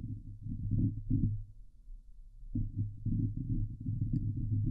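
Long glitter nails of both hands scratch the hollow steel mesh grille of a Blue Yeti microphone. The scratching is heard close-up as a dense, muffled, low rumbling rasp in rapid bursts. It quiets briefly near the middle, then picks up again steadily.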